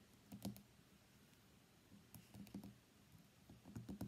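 Fingernails tap the glass screen of an iPhone X lying on a mat, then the phone is flipped over and its white glass back is tapped. The taps are quiet, dry clicks with a soft, low body and almost no ring, coming in irregular bursts over a faint background hiss.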